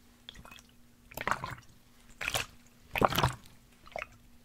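A large black plastic sports water bottle with a blue cap, hollow and holding liquid, is held horizontally, tapped with fingertips and tilted so the liquid sloshes inside. Short bursts of soft tapping and wet, squishy sloshing come in clusters, with brief bright splashy edges. A faint steady low hum runs underneath.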